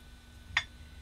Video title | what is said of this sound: Magnet Brakes its own fall | this magnet weighs 5 pounds 8 ounces yet when I drop it it's almost silent